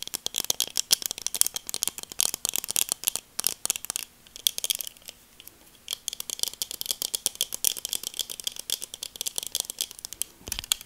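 Long nails tap and scratch the frame and temples of black plastic sunglasses as they are turned in the hands. The result is a dense run of bright, dry, very short clicks with almost no low end. A softer stretch of light scratching comes in the middle before the rapid tapping resumes.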